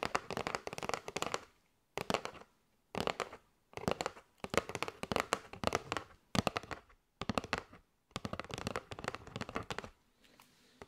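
Long nails tap and scratch the edge of a kraft cardboard box with a window, full of paper straws. Rapid, dry, crisp clicking and scratchy rustling come in bursts separated by short silences, with a papery mid-range body and bright edges. The clip ends in a faint, quiet scratch.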